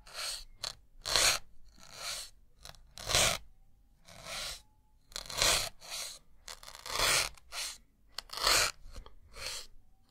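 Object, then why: Melamine foam sponge. A white solid melamine foam sponge block is repeatedly pierced with a thin metal needle. Each stab makes a bright, airy crunch and tearing sound, followed by a faint scrape and short pauses in between.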